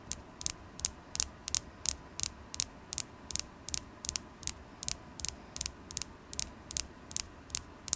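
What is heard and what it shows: A carnelian crystal stone is tapped repeatedly, giving 24 short, bright clicks at a steady pace over a low, quiet background hum. Each tap is crisp and dies away almost instantly, with no ringing.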